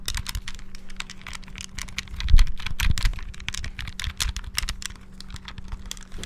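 Fingertips rapidly bash the buttons of a small, hollow, clear transparent plastic Game Boy handheld while it is moved around close to the mic. It makes a dense stream of sharp, bright plastic clicks and clacks with a low, steady hum underneath, swelling loudest briefly in the middle before settling back.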